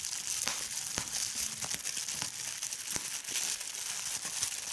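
A large sheet of clear plastic bubble wrap spread on a bed is crumpled and squeezed by fingertips with long red-painted nails. Steady bright crinkling fills the clip, broken by sharp pops as bubbles burst.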